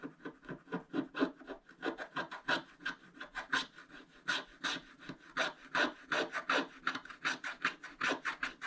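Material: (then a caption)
Coated paper. A wooden stylus scratches away large areas of black coating on a thin scratch-art paper page, revealing a foil shark underneath. Quick, irregular raspy strokes follow one another steadily, each a dry papery rub with a bright, hissy edge and no lingering ring.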